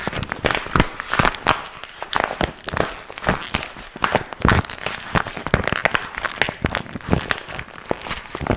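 A small, empty, glossy pink vinyl zip pouch with a strap is held in both hands while fingertips crinkle and scratch its surface. The result is a dense, continuous run of sharp, bright crackles and crinkles with quick, dry decays and frequent louder snaps.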